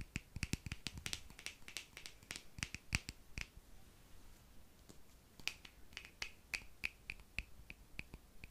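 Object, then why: Small plastic cream jar with screw lid. A small, hollow, palm-sized white plastic Mario Badescu skincare cream jar with a screw lid is held close and tapped and clicked with the fingernails. Dozens of quiet, dry, sharp clicks, bright with a strong tone around 2.5 kHz, come in quick irregular bursts, with a brief lull in the middle. Each click dies away almost instantly.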